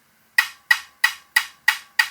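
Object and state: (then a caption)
Well-bonded carbon fibre tube. A 50p coin taps a known-good area of a carbon fibre bike down tube six times, each tap giving a short, hard, high-pitched click. The taps ring briefly near 1.9 kHz with no low end. This bright tone indicates well-bonded, stiff laminate.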